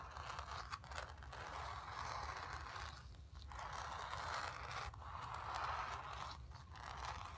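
Long nails scratch the fabric of a painted, stretched canvas in repeated strokes. The result is a steady, raspy scraping centered in the midrange, with brief dips between strokes over a faint low rumble.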